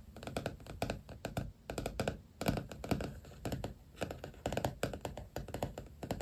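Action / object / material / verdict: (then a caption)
tap / vinyl stickers on a paperback notebook cover / vinyl / none. Fingertips and nails tap and scratch across a black softcover notebook covered with vinyl stickers, lying flat. Quick, dry, muffled taps come in uneven bursts with very short decay, mostly low and soft with little high-frequency content.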